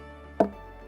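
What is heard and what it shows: A stone knocks once on the trunk of a Phoenix palm, which is hollow inside, with the hollow growing larger as the palm ages. The sound is a single short, resonant knock with a tonal body around 660 Hz. It decays within a fraction of a second over a faint steady background hum.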